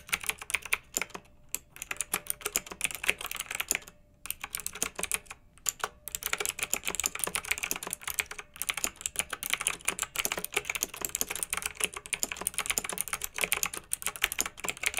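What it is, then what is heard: Plastic mechanical keyboard. Both hands with long nails type steadily on a pink plastic retro mechanical keyboard with round, backlit keycaps. The keys make rapid, bright, crisp clacks with almost no low end, broken by a few short pauses early on before settling into a continuous flow.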